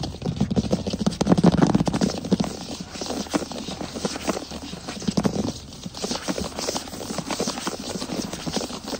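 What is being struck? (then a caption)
Wooden floor. A wood floor is tapped and scratched quickly with the fingers for ASMR. The result is a fast, dense run of short, dry taps mixed with scratchy rustling, with low thuds that rise and fall in strength.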